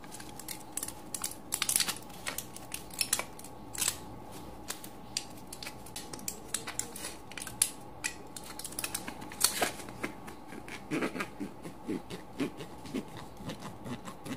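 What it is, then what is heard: Empty foil blister pack being crinkled. An empty aluminium foil pill blister strip with crushed cavities is held in the hands, and the thumb and fingertips press, bend and crinkle the foil. Many sharp, bright crackles and snaps come quickly and irregularly over a faint steady hum, each dying away almost at once.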